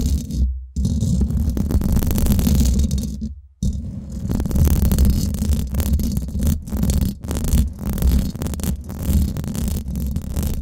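Long nails scratch the hollow domed steel mesh head of a Blue Yeti microphone, fast and slow. The result is a dense, muffled rumbling scrape concentrated in the low end around 62 Hz, with almost no high brightness. It is broken by brief silent gaps near 0.5 and 3.3 seconds and short dropouts later.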